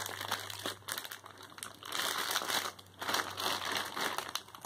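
A medium white plastic poly mailer bag, soft and filled with clothing, lies flat on a bed as fingertips and painted nails rub and press its crinkly surface. The result is a steady, bright crinkling and crackling of plastic that swells and fades in waves.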